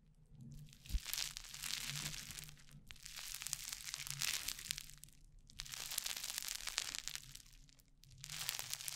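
Orange crunchy foam-bead slime (floam) is kneaded, pressed flat and pulled apart by both hands close to the microphone. Dense, bright crackling and crunching comes in long waves, with brief quieter pauses between handlings. A faint low hum sits underneath.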